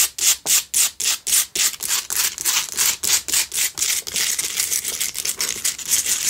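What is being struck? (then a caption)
Rock salt candle holder. Long nails scratch the sides of a lit pink Himalayan salt single candle holder made for a tealight. The result is a run of rough, bright, raspy strokes with almost no low end, distinct and evenly spaced at first, then quicker and blurring into a continuous scraping texture.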